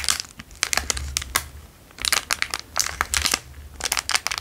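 The same square clear plastic wrapper is rubbed and crinkled with fingers and thumbs. Bright, crackly crinkles come in three dense bursts separated by quieter lulls, with a low hum underneath.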